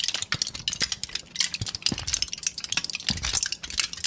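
A crumpled sheet of thin aluminum foil is held in both hands and crinkled, pressed and scratched with the fingers. It gives a dense run of sharp, bright crackles and rustles that die away almost instantly, with only faint low thumps beneath.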